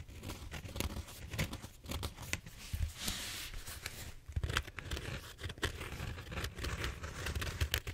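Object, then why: Bead-foam styrofoam roller. Fingertips and nails scrape and scratch the surface of a large purple bead-foam styrofoam roller held diagonally, producing a continuous crunchy, tearing crackle. Bright, sharp scratches cut through a steady low, rumbling friction layer for the whole clip.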